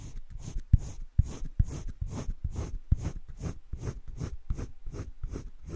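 A colored pencil shades the inside of a heart on flat cream drawing paper in a wire-bound spiral sketchbook, making about a dozen quick, repeated strokes. Each stroke is a soft, dull scratch, with its energy sitting almost entirely in the low end. The strokes come in a steady, even rhythm with brief gaps between them.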